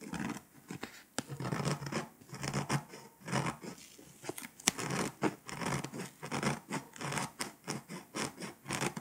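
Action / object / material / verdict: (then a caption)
scrape / foil-coated paper scratch-off map / foil-coated paper / none. A pink scraper, held by a hand with long nails, scratches the foil coating of a flat foil-coated paper scratch-off map in quick strokes. Short, dry, bright scraping bursts follow one another in an uneven rhythm, with a few sharper clicks standing out. Each burst stops almost immediately, with no ringing after it.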